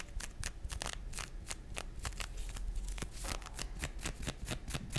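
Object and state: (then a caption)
Nylon fishnet arm warmer. A pink nylon fishnet arm warmer, worn on the forearm with its thin open net fabric over the skin, is scratched and rubbed along its length by the fingernails of the other hand. Quick, dry, crackly scratches follow one another in a rapid, uneven run, each one a bright, broadband rasp over a low, soft rumble. The effect is a steady, close-up scratching texture much like shuffling cards.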